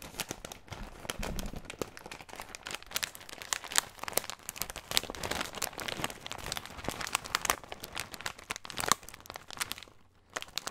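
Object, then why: Plastic bag of snack mix. Fingertips squeeze and crinkle a clear plastic bag of snack mix filled with nuts or crackers, with a green label. Dense, bright crackling runs almost continuously with sharp snapping peaks, drops to near silence around the ten-second mark, then ends with a final crackle.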